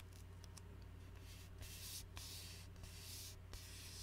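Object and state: Glass bottle with plastic label, scratched.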